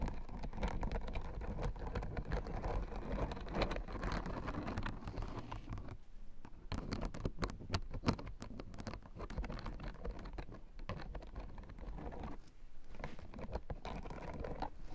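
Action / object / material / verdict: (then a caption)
scrape / plastic acupressure mat with spiked discs / plastic / none. A blue plastic acupressure mat with white plastic spike discs is tapped and scratched by long painted nails. Many quick, dry clicks and a scratchy patter run continuously, mostly low in tone. Some bright, crisp ticks sound through the middle section.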